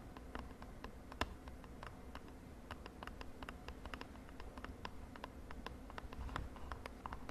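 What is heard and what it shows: Long nails tap fast on a small purple printed cardboard cosmetic box held in the hand. Quick, dry, bright clicks come in an uneven, steady patter over a quiet low hum, each tap dying out almost at once, with one sharper tap standing out early on.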